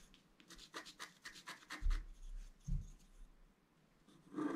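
A wooden stylus scratches and rubs the coating off a flat, black-coated scratch art card, about A4 size, lying on a table. A quick run of crisp, bright scratching strokes is broken by a couple of soft, low thumps, then fades to quieter rubbing before a louder scrape at the end.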